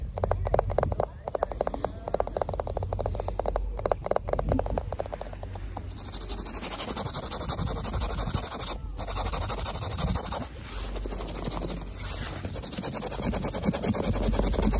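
Fingertips and nails scratch and tap across the dark grey porous foam padding of a chairlift seat trimmed with a red edge strip, which feels soft and solid. For the first six seconds there is a rapid, dense patter of short, dry taps and scratches. It then gives way to steadier, continuous scraping and rubbing over a constant low rumble.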